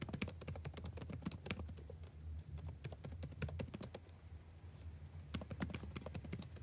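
Fingertips tap and type on the plastic keys of a backlit laptop keyboard, producing quick, dry, bright clicks in fast, uneven bursts. A steady low hum sits beneath the clicks. The typing thins out briefly before picking up again on the same keyboard.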